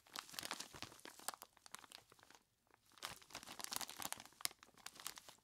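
Hands in skeleton-claw gloves squeeze and rub a large clear plastic bag full of ice cubes, making dense, bright crinkling and crunching with sharp little cracks. The sound comes in two bursts of handling separated by a brief quiet pause near the middle, then continues in softer, sparser crinkles to the end.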